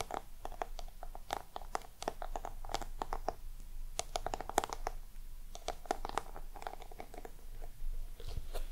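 Long nails scratch and tap across the scaly surface of a small, round, hollow black box with a crocodile-embossed texture. The result is a dense run of dry, crackling scratches and quick clicks with bright edges, each carrying a faint hollow mid-range tone that dies away instantly.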